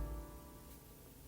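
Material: Nothing is struck.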